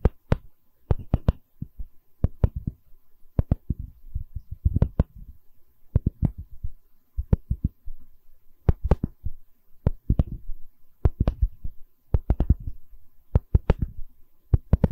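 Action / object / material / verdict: scrape / wooden tree slice with bark / wood / none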